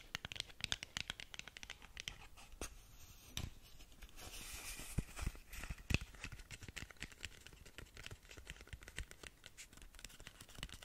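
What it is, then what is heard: Cardboard box scratched with nails. Long nails scratch the sides of a long, narrow, hollow, closed black cardboard lip gloss box. The result is a steady run of quick, dry scratches and crisp ticks with bright hiss, a louder rough stretch in the middle and a few sharper taps. Each stroke stops dead, leaving no ring.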